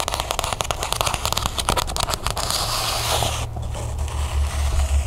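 Long nails tap and scratch fast on the spine and cover of a small, closed cloth-bound hardcover book held up close. Quick, sharp, crackly clicks dominate the first half, then give way to a softer, steady scratching over a low hum.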